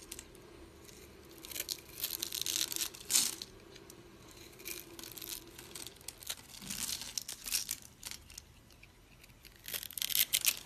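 A utility blade scrapes crunchy cubes off a dry, solid green and white striped soap bar held in the palm and scored into a grid. Bright, dry crackling and crunching bursts come in uneven clusters, with quieter scraping between them. A faint steady low hum sits underneath during the first half.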